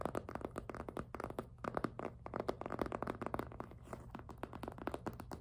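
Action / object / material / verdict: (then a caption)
scrape / soft PVC plastic handbag / PVC plastic / none. Fingertips and nails grip and rub the front of a hollow, glossy pink jelly PVC handbag. The result is a quiet, steady run of dozens of quick, dry crinkling and squeaky plastic contacts, each very short, with a soft low hum underneath.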